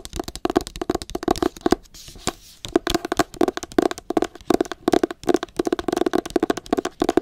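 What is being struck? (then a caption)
Hardcover book with matte paper cover. A solid pale green hardcover book with a matte paper cover is held in both hands while long acrylic nails tap rapidly across the cover. Quick, dry clicky taps come in dense bursts with a brief lull near the middle. Each tap has a short, muted mid-range tone that dies away almost instantly.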